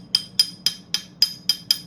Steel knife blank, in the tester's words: you can hear it almost sounds like glass